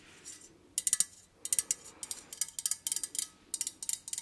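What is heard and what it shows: Long nails tap a hollow, empty, white perforated metal candle holder with a lace pattern, making bright, high, ringing clinks. About sixteen quick taps come in short bursts across the clip, each dying away almost at once, with no low-end body.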